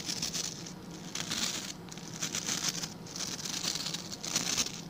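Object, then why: Plastic scrub brush bristles. Fingertips and nails scratch and flick the tufts of stiff white and blue plastic bristles on a hand-sized blue plastic scrub brush. The result is a dense, bright, crackling patter that swells and eases in short bursts, with a faint low hum underneath.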